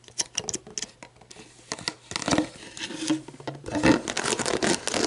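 Long black nails scratch the ridged base of an empty, hollow, clear plastic sports drink bottle standing upright, then tap and scratch its label and lower ridges. An irregular run of quick, dry taps and crinkly scratches sounds, with a faint hollow plastic ring under a low steady hum.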